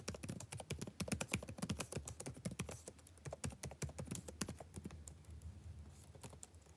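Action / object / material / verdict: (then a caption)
tap / plastic laptop keyboard / plastic / none. Fingertips type on the plastic keys of a backlit laptop keyboard, producing a quick, uneven run of short, dry clicks and taps. The keystrokes are louder and denser at first, then grow softer and sparser toward the end.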